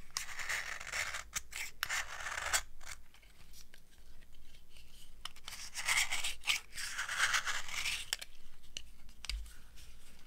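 An old, dry, solid yellow soap bar is carved by scraping it with a metal knife blade, shaving off powdery flakes. Repeated crunchy, bright scraping strokes come in bursts with brief gaps, over a low background rumble.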